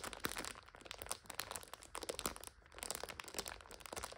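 A full purple instant noodle multipack in a plastic overwrap is scratched and pressed by long nails. It makes dense, bright crinkling and crunching with many sharp crackles. The sound has short pauses and little low end.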